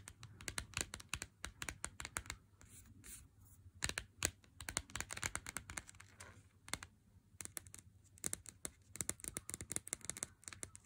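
Fingernails tap and scratch across the front and edge of a handheld Lindt chocolate bar in its cardboard sleeve. Rapid, dry, bright clicks and papery scratching come in quick bursts, with brief softer pauses between flurries. Each tap is short and crisp with almost no ring.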